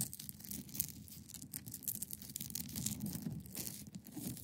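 Long painted nails scratch across the top edge and sides of a hand-sized solid block of clear ice resting on a fabric surface. The result is a quiet, continuous run of rapid, irregular scraping strokes with a bright, hissy high end over a soft low rumble.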